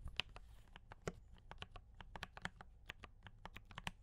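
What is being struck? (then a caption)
Mechanical keyboard, plastic keycaps. A compact D84 mechanical keyboard with brown switches and cream and red plastic keycaps is typed on continuously with the fingertips of both hands. About twenty quick, bright plastic clacks land in an uneven rhythm, each stopping almost instantly, over a faint low rumble.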